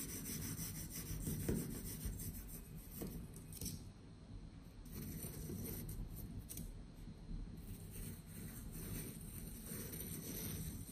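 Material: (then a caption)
Kinetic sand. A hand-held patterned metal knife blade cuts and scrapes through solid blocks of pink kinetic sand, slicing off the studs so they crumble. The result is a steady, soft, gritty rasping and rubbing, mostly low and muffled, with a few slightly louder crunches along the way.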